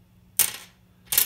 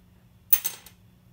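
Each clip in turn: First: bone guitar nut, dull-sounding. Second: graphite guitar nut with a slight ping.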